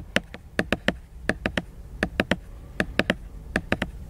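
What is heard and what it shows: A fingertip nail scratches and rubs the glossy laminated cover of a solid hardcover book lying flat. Seventeen short, dry, bright clicks come mostly in quick groups of two or three, each dying away almost at once over a low background hum.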